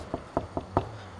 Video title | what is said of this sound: WE MADE NIPPERS SCANIA LOUD! - 4K | if we do the knock test on the doors, completely solid